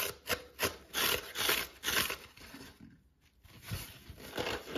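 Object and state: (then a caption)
Dry foam sponge with scouring pad. Fingertips scratch a dry yellow foam kitchen sponge with a green scouring pad, held in the hand, tearing small crumbs off the foam and rasping across the green pad side. Bright, dry scratching strokes come in uneven bursts, fade to a brief near-silent pause, then resume more softly.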